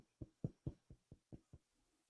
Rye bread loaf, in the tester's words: when we knock on the bottom we want it to be Hollow sounding